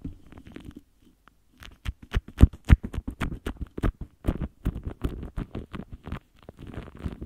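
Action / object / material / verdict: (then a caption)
scrape / metal mesh microphone grille rubbed with a soft foam tip / metal mesh / none. A pink lip gloss wand's foam tip scratches and rubs across the top of a large, rounded, hollow metal mesh microphone grille. The result is a run of short, dry, crackly scrapes and taps in an uneven rhythm, heavy in low thumping body with brief bright edges. Quiet rustling fills the start and end.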